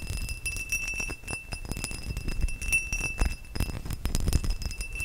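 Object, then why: Cut crystal glass vase. A tall, hollow, empty cut-crystal glass vase is held up near the microphone and tapped with fingertips and nails along its faceted sides. Quick, dense taps give soft low thumps and sharp clinks over a steady high glassy ring that hangs through the whole clip.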